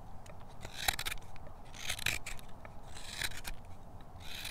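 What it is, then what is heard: Wooden spoon being carved with a hook knife. A steel hook knife repeatedly scoops shavings from the bowl of a pale, solid wooden spoon faceted with tool marks. Short, bright scraping strokes with a raspy hiss come in an uneven rhythm over a low, quiet rumble.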